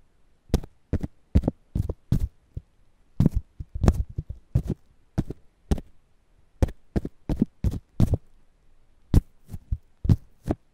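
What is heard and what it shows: A single fingertip and nail scratch and tap the green husk of a whole fresh ear of corn held between foam microphones. The result is an irregular series of dull, low thumps, each with a brief bright crackle, separated by short quiet pauses.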